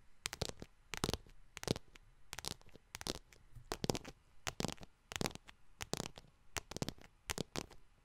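Long nails tap and scratch the front of a small yellow faux leather wallet with a metal bar, held in both hands. The result is quick, dry bursts of clicking and scratchy rustle with bright edges, falling into short clusters separated by quiet gaps.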